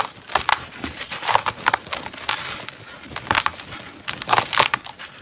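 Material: Soil.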